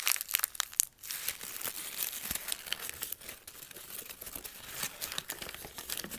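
A single torn-out sheet of thin white lined notebook paper is crushed into a ball in both hands, then pulled open and flattened while fingers squeeze and rub it. Sharp, bright crackles burst during the first second, then after a brief near-silent gap a steady, dense crinkling continues for the rest of the clip. The sound is almost all high and crisp, with very little low end.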